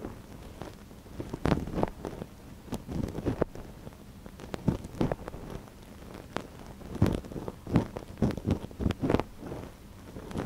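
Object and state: Silicone ear of a binaural microphone being scratched.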